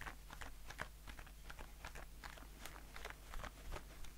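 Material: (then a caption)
Aluminium. A blue aluminium shaving foam aerosol can is held in one hand and tapped with the fingertips and nails of the other hand on its body and metal bottom. Quiet, irregular, rapid taps and clicks with short bright transients and almost no ring sound over a steady low hum.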